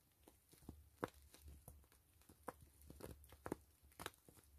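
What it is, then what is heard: PVC mesh zipper pouch. Long fingernails scratch and tap the crinkly surface of a soft, hollow, slightly filled gray and clear PVC zipper pouch with grid mesh. Quiet, sharp plastic ticks stand out over a soft crinkling, scratching texture.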